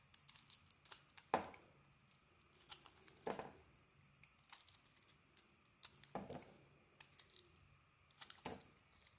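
A solid embossed brown-pink bar of soap is held in the hand and shaved into curls with a metal blade. Quiet, crisp scraping and crinkling strokes repeat irregularly, with several louder broadband cuts standing out.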